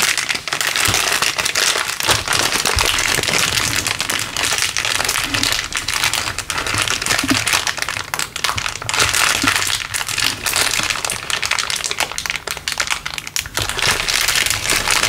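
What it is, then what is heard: Plastic bag crumpled. A thin, clear LDPE plastic bag balled up in a fist is squeezed and crumpled by the hand. The result is dense, continuous crinkling and crackling, bright and high with almost no low end. It stays at a steady, fairly loud level for about fifteen seconds.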